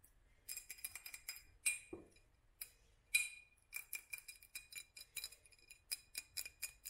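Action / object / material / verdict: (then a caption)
tap / textured glass jar / glass / none. A hollow glass jar with a black hobnail surface, held close and tapped with long fingernails, gives quick, bright clicking taps in uneven clusters. Each tap has a short glassy ring near 2.4 kHz with high sparkle above. The taps are soft and close, with a brief lower thud partway through.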